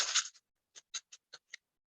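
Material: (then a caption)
Dried corn kernels. A paper seed packet holding dried corn seeds is shaken, starting with a dense, papery rattle of kernels. It is followed by five separate short shakes, each a bright, crisp patter of seeds striking the inside of the packet with no low-end body.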